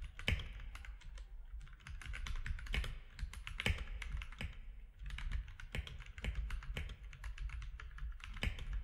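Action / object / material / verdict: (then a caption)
tap / plastic mechanical keyboard / plastic / none. Fingertips of both hands type on a compact plastic mechanical keyboard with grey, white and orange keycaps. Quick, uneven runs of short, sharp clacks sit over a low thocky body, with a few louder key strikes standing out. Each keystroke dies away almost at once.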